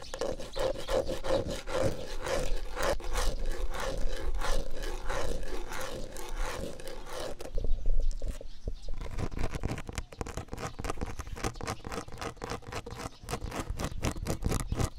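Fingertips and nails scratch and rub the flat pickets and top rail of a low, white-painted solid wooden picket fence outdoors on grass, with the recorder held close. Rapid, rough scraping strokes come about four times a second with a deep, rumbling low end. The rubbing swells to its loudest around the middle, then continues a little softer.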